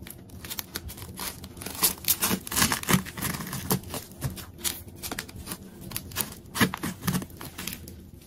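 A large solid ball of many layered multicolored plastic tape, held in one hand, is sliced and peeled with a metal craft knife. Rapid dry crinkling and tearing crackles come in dense bursts with short, bright snaps. There is a low body under the crisp tearing.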